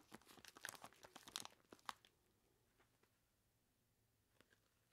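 Gloved monster hands with long plastic claws grip, squeeze and scratch a large clear plastic bag that is full of ice cubes and tied at the top. A dense burst of bright crinkling and crunching fills the first two seconds. It then fades to near silence broken by a few faint, scattered crackles.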